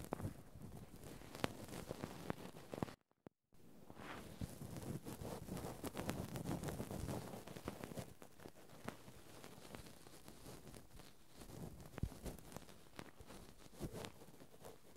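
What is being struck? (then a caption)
Metal mesh microphone grille. Cotton swab tips held in both hands scratch and rub the small metal mesh X/Y microphone capsule grilles of a Zoom handheld recorder, with a spray bottle and towel sitting nearby, untouched. Close, low-heavy rustling and scraping is scattered with sharp clicks and pops, broken by a brief dropout of near silence around the three-second mark.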